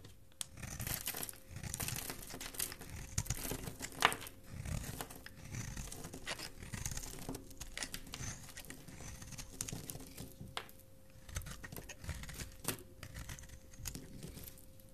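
A solid black and white striped bar of soap, held in the hand, is scraped with a metal blade into curls. The result is a continuous stream of soft, dry scraping and crinkly crackles with bright, gritty edges, rising and falling in short strokes over a faint steady hum.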